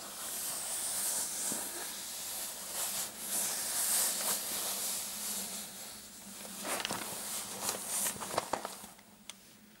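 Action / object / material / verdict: scrape / fabric clutch purse with metal clasp frame / fabric / none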